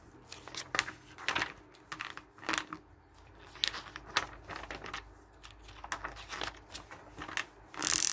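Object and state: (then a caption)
Paper catalog pages being flipped. Fingers quickly flip through the pages of a thin, glossy paper hardware catalog resting on a wooden table. Each page gives a quick, crisp, bright rustle and flick with almost no low end, and the clip ends in a louder, sustained bright swish.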